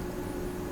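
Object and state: Nothing is struck.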